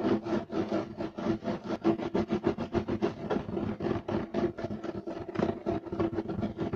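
Fingernails of both hands scratch fast across a beige striped loop-weave woven fiber carpet. About 26 rough, rasping strokes come in quick, uneven bursts, roughly three or four per second. Each has a dry, midrange scrape that cuts off almost at once.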